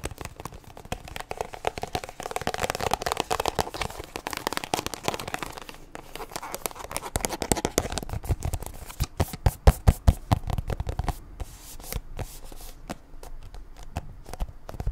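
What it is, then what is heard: Plastic squeeze tube tapped with fingernails. A small white-and-blue plastic squeeze tube of sunscreen, hollow and apparently filled, is held in both hands and rubbed and tapped with long acrylic nails. Dense, irregular clicking and scratchy rubbing with soft low thumps fill the clip, and sharper, louder taps stand out in the middle before settling back into quieter rubbing.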